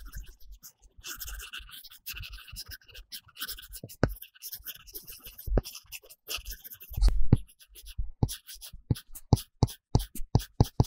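A plastic stylus tip rubs and scratches quickly back and forth on an iPad screen covered with a matte paper-texture film, making dense scribbling coloring strokes with a bright, papery hiss over soft low thumps. Toward the end, the strokes turn into a run of short, crisp taps against the same surface.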